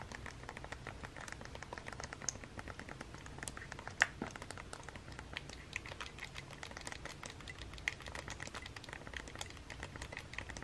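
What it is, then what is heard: Plastic game console buttons being pressed. Fingertips with long nails press and tap the buttons of a hollow plastic Nintendo Switch game console with a red Joy-Con. A quiet, steady stream of irregular, crisp plastic clicks and taps continues throughout, with a few sharper, louder clicks standing out over a faint low hum.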